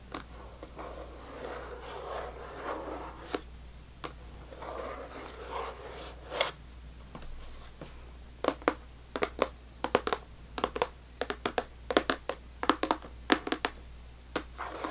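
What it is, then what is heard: Clear plastic candy tub. Long fingernails scratch and tap the lid and label area of a full clear plastic tub of sour belt candy resting on a table. The first half is soft, rasping scratching in gentle swells; the second half turns into crisp, sharp plastic clicks with a bright edge.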